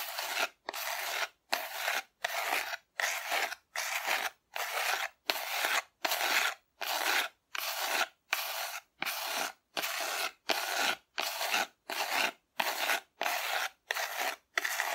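Long nails scratch a hollow, painted cardboard dinosaur figure held upright, in 23 separate strokes over fifteen seconds. Each stroke is a dry, rasping scrape, bright and airy with no low end, broken by short silences at a steady, somewhat uneven pace.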